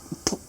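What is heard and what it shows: A cover piece on a tractor differential case, which turns out to be aluminum rather than plastic, is tapped once. It gives a short, dull knock with a brief bright edge that dies away almost at once. A faint softer tap comes just before it.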